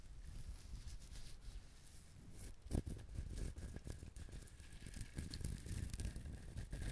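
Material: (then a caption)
Coconut shell. A coconut shell is handled, tapped and scratched close up, giving soft, dull scratchy rustling with low thuds. The sharpest knock comes near the middle, and a faint steady high tone sits under the scraping throughout.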